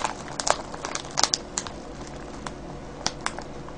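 Fingertips scratch and crinkle a clear cellophane bag full of foil-wrapped candies. Bright, crackling crinkles come in short, sharp bursts over a steady faint rustle, with little low end and almost no ring after each snap.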